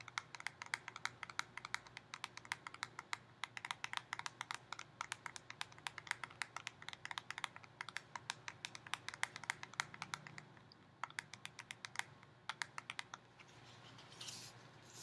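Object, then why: Plastic snap lid on a snack can, tapped with fingernails. Long painted fingernails rapidly tap and scratch the plastic snap lid on top of a Pringles can, making a dense stream of sharp, bright clicks with almost no ring. The taps come in quick, uneven bursts over a faint low hum, thinning out near the end as a soft, bright hiss rises.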